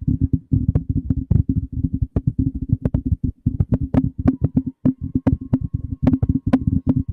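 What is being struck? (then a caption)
Metal condenser microphone body. Fingertips of both hands tap and rub the hollow body of a black cylindrical metal condenser microphone. A fast, steady run of dull, low thumps with a boomy body and almost no ring, with occasional brighter ticks riding on top.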